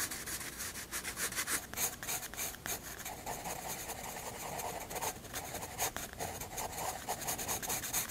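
A graphite pencil shades and draws on a white paper sketchbook page in quick rubbing strokes. It makes a steady, quiet, bright scratchy hiss that swells and dips with each stroke, with almost no low end.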